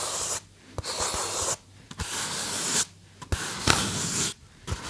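Fingertips and nails rub and scratch a small white polystyrene foam box held close to the mic. Bursts of dry, bright, hissy scraping alternate with short near-silent gaps, with a few soft low taps and squeaks between them.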